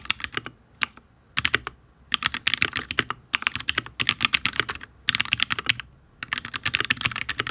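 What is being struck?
Mechanical keyboard, ABS keycaps on steel plate.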